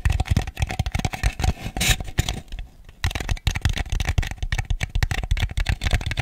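Fingernails tap and scratch across the outside of a small, ribbed white plastic bowl that is hollow, empty and held upside down. The result is a fast run of dull, hollow, low-pitched clicks with a dry rasp and almost no ring. There is a brief softer, scratchier lull in the middle before the tapping picks up again.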